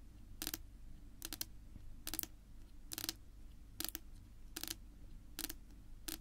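Long pink nail tips tap a flat, solid, dark wood-grain tabletop in irregular bursts, some single and some in quick clusters. Each tap is a short, bright, dry click with almost no ring, heard over a steady low hum.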